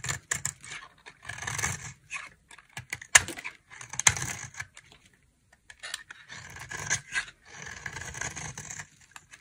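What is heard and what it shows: A dry, solid, palm-sized pink Camay-style bar soap is held in one hand and carved with a utility knife blade, so that shavings curl and crumble off. Bursts of crisp, bright scraping and shaving come in uneven strokes with short pauses between them. A few sharper clicks stand out as the blade bites into the bar.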